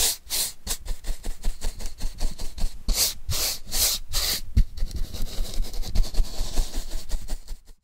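A paintbrush is rubbed back and forth over a flat brown corrugated cardboard sheet held in hand, making a steady run of dry, scratchy brushing strokes at about two to three per second. Longer, brighter hissing sweeps stand out in the middle, before the quicker rubbing resumes and stops abruptly at the end.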